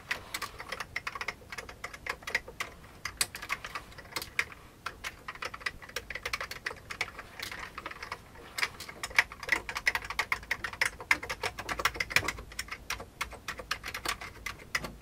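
Both hands type steadily with their fingertips on an old beige plastic computer keyboard. A dense stream of short, bright clicks and clacks rattles along with almost no low end, each keystroke dying away almost instantly. The pace stays brisk throughout, with occasional louder keystrokes standing out.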